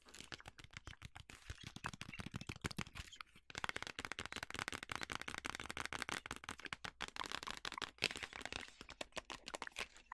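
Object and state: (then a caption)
Cardboard box. A yellow printed cardboard food box, hollow and apparently closed, is held in the hands and tapped and scratched with long nails along its faces and edges. The result is a steady stream of quick, dry, bright clicks and scratchy rasps with almost no ring, broken by a brief pause near the middle.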